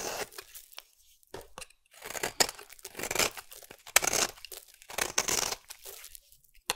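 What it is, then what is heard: Bar soap being scraped. A metal utility blade scrapes a solid green oval bar of soap into fine curls. It makes a series of dry, bright, crisp tearing strokes, each a short rasping burst followed by a brief quiet pause. The sound has almost no low end.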